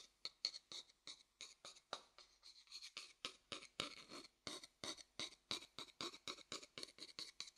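A thin wooden stick taps and rubs the outer base of a light, pale, hollow wooden bowl held upside down. More than thirty quick, dry, bright taps follow one another in a steady run, each dying out almost at once with scratchy texture and very little low end. The overall level stays quiet throughout.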